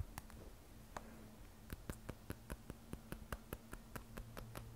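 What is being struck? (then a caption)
Glass and stainless steel smartphone. Long nails tap and scratch the matte glass back of an iPhone 12 Pro, a glass and stainless steel smartphone held upright, near the camera bump. A few scattered clicks and soft scratching give way to a quick, steady run of sharp, dry taps with a bright click on top. A faint low hum sits underneath throughout.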